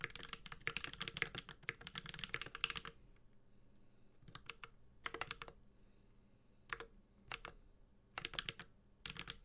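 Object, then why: Mechanical keyboard with aluminium case and plastic keycaps. Fingertips of both hands type on a Space65 Cybervoyager, a 65% mechanical keyboard with an aluminum case, plastic keycaps and Holy Panda switches. A dense run of bright, crisp key clacks fills the first three seconds, then the typing continues in short bursts separated by pauses. Each tap dies away almost instantly over a faint low background hum.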